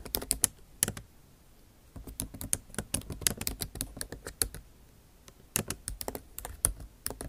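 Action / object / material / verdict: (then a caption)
tap / laptop keyboard with plastic keys in an aluminium body / plastic / none. Long nail tips type fast on a backlit MacBook Pro keyboard with plastic keycaps set in an aluminum body. Quick, sharp, bright clicks and taps come in bursts, with short pauses between runs.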